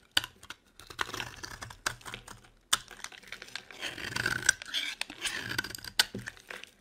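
A solid cream bar of dry soap, held in the hand, is shaved with a metal blade into crumbly curls. The cuts make dry, crisp scraping and crackling strokes with sharp, bright clicks between short pauses. There is little low end and no ring after each cut.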